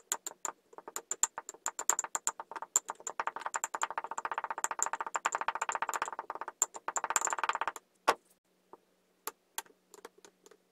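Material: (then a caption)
Sand. A wooden muddler tamps and presses layers of kinetic sand (green, then a multicolour ball, then blue) down into a tall clear drinking glass. Rapid, crisp, bright ticks and clicks build into a dense crackling patter through the middle of the clip. The sound then thins out to a few scattered sharp taps before ending.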